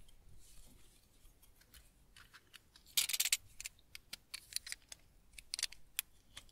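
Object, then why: Tar soap bar scraped with a small blade. A solid, semi-hard household tar soap bar is held in one hand and scraped with a small yellow-handled blade, dropping shavings onto a wooden table. Quiet, bright, crisp scratching starts soft, then a dense, louder burst of scraping follows, and a run of short, dry, clicking cuts with almost no ring trails off.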